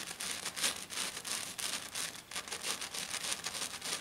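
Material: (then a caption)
Glitter. A hand with long black nails scratches fast across a flat silver glitter-coated sheet, making a dense, bright, gritty scraping. Strokes come in quick, uneven bursts with short dips between them, and almost no low end.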